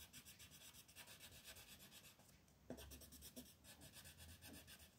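A peach wooden pencil colors a white paper coloring page on a table in quick back-and-forth shading strokes. It makes a steady, scratchy rubbing with a bright, papery hiss on each stroke. The strokes ease off briefly near the middle, then pick up again.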